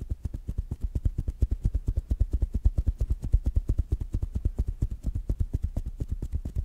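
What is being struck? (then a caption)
Fabric-covered smart speaker. Fingertips and nails tap quickly on a small, rounded black smart speaker with a fabric mesh cover. The result is a fast, fairly steady stream of short, dull, deep thuds with almost no ring.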